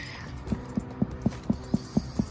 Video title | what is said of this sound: HE SURVIVED KAWASAKI DISEASE! (What Happened & What Parents Need to Know) - Dr. Paul | if you tap on something hollow like his tummy